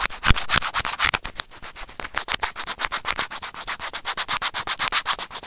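Serrated plastic tweezer tips scrape a small, hollow white plastic earphone inline microphone remote in a fast run of about 38 short, rasping strokes, roughly four per second. Each stroke is a bright, hissy scratch with almost no ring and little low end.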